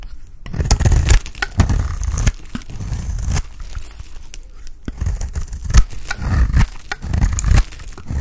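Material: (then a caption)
Soap. A dry, solid cream Palmolive soap bar is scraped and shaved with a utility blade, its shavings piling up below. Repeated rough scraping and crumbly tearing strokes come in uneven bursts, heavy in low-end thud with a faint bright edge, each stroke ending quickly without ring.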